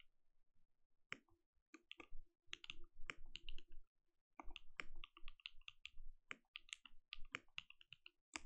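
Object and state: Mechanical keyboard with plastic keycaps.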